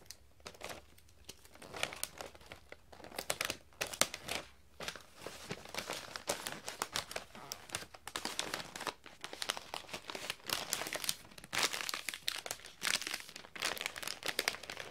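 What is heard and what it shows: Fingertips fold, crease and crinkle a thin, flexible sheet of shiny gold patterned metallic foil wrapping paper on a glass table while wrapping it around an item. Dense, crackly crinkling comes in rapid bright bursts with brief pauses, with almost no low end.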